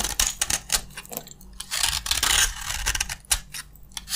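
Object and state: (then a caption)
Dry bar soap. A utility knife blade repeatedly cuts and scrapes crunchy chips from a green, solid bar of dry soap held in the palm. The result is a rapid series of dry, bright, crackling scrapes and clicks, each dying away quickly, with a few brief louder bursts of crunching.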